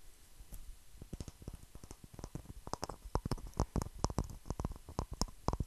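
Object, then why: Palm-sized stone. Fingertips and nails tap and scratch the rough surface of a palm-sized, solid grey speckled stone held up close. The sound is a quiet, irregular run of short, dry taps with low thuddy bodies and bright clicky edges over faint scratching. Each hit dies out almost instantly.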